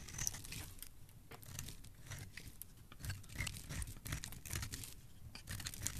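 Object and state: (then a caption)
Dry bar soap being scraped. A solid, dry, palm-sized yellow bar of soap is held in the hand and scraped along its edge with a metal blade, dropping flakes onto the pile below. Dense, bright scraping crunches and crackles repeat in quick strokes with a low thumping undertone, each one dying off instantly.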